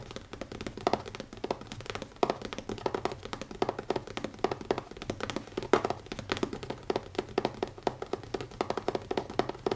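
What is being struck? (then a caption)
Leather-covered notebook. Fingertips tap rapidly on the cover of a leather notebook, producing a steady stream of soft, dry taps with a muted mid-range tone. Each tap dies away almost instantly, and no voice is heard.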